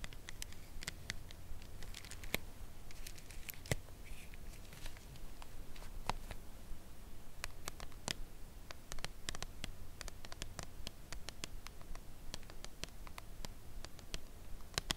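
A full red Lindor cardboard chocolate box is held in hand, then laid flat on a fabric surface and tapped on its face with long nail tips. Slow, irregular, crisp clicks with bright, short-lived edges sound over a steady low hum.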